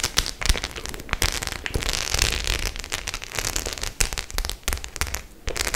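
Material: Faux leather.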